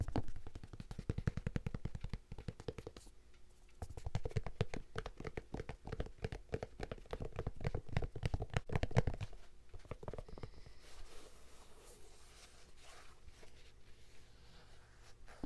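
An empty, hollow red and white checkered Vans-style high-top sneaker made of suede and canvas with a rubber sole is held in hand while fingertips scratch and tap along its upper and sole. Rapid, irregular, dull low thuds with short scratchy bursts fill the first ten seconds, pausing briefly around three seconds. The sound then fades into softer, quieter rubbing and scratching until the end.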